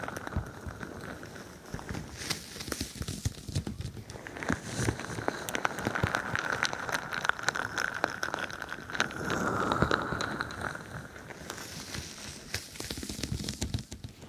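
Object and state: Bead-filled plastic squishy ball.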